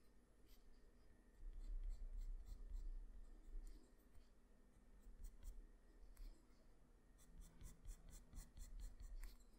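A black graphite pencil tip scratches short strokes across a flat sheet of white drawing paper lying on a surface, drawing a character's face. The sound is a soft, dry scratching with faint bright ticks of the tip catching the paper over a low, steady rumble. Louder bursts of strokes come in irregular clusters.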